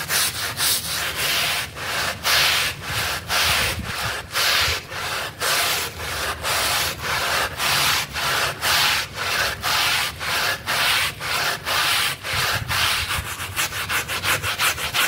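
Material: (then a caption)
Synthetic fibre. A wet blue synthetic pile mat is scrubbed with a pink stiff-bristle brush while fingertips hold it down. Steady, rapid back-and-forth strokes make a bright, hissy scratching that repeats in an even rhythm, each stroke separated by a brief dip.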